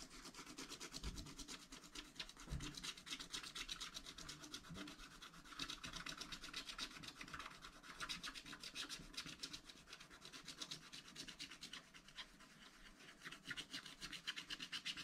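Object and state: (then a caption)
Scratch-art paper being scratched. A wooden stylus scratches the black wax coating off a page of a scratch-art pad, a thin coated card lying flat, working near the right edge of the picture with short strokes. The result is a steady, rapid run of dry, bright scratching and rasping, heavy in the high end, with a few soft low bumps early on.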